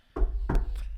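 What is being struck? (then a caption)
Particle board surface. Knuckles rap on a particle board surface, made of wood chips pressed together with sealant, to check whether it counts as wood for "knocking on wood." A few short, dull knocks land with deep low-end thump and almost no ring. The thick, dense board is judged to still be wood.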